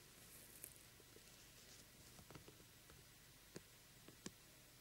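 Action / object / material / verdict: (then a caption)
tap / glitter-coated plastic pumpkin lamp / plastic / none. Fingertips pat and tap the face of a small, hollow, glitter-coated plastic jack-o'-lantern lamp, with both hands approaching it by the end. Quiet, soft, dry taps with almost no ring and a faint papery patter come through over a steady bright hiss, with a few sharper clicks toward the end.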